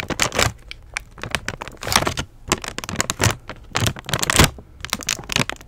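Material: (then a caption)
Plastic. Long nails tap and scratch the crinkly plastic front of a flat, apparently full Sour Patch Kids candy bag held up to the camera. Quick, dry clicks mix with bright crinkling rustles that come in short clusters, each dying away almost at once.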